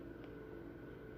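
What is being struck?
Nothing is struck.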